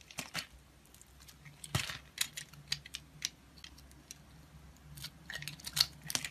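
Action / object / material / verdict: scrape / bar of soap / soap / none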